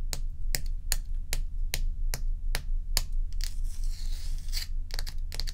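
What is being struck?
Large block of ice.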